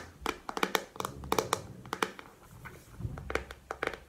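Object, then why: Plastic paddle hairbrush. Fingernails tap and scratch a pink plastic paddle hairbrush with bristles and a hollow handle. Seventeen quick, dry clicks with a hollow knock around 450 Hz come in irregular bursts, with soft scratching between them. Each tap stops almost at once.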